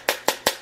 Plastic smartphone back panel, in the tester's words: ça sonne le creux mais c'est pas grave